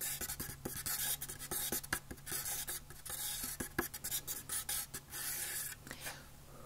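Long fingernails and fingertips scratch and rub up close along the surface of a long, hollow carved wooden box with flower inlays. Quick, irregular strokes make bright, dry scratching and rasping sounds, with a faint steady low hum underneath. The scratching settles into softer rubbing at the end.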